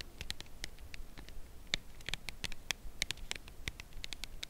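A red Lindt Lindor cardboard box holding a chocolate bar, held edge-up, is tapped along its side with long acrylic nails. The result is a quiet, irregular run of short, dry clicking taps with a bright edge near 3.6 kHz, each dying away almost at once over a low background hiss.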